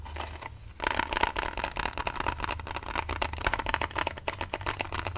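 A small, hollow, white printed cardboard box with a pink design is held in both hands and scratched and tapped with fingernails close to the mic. Quiet, soft scratching for the first moment gives way to dense, rapid, crisp ticks and scrapes with a bright edge and a faint hollow ring, over a low steady hum.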